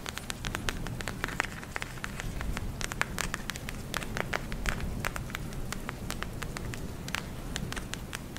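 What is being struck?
Plastic gel eye mask filled with beads.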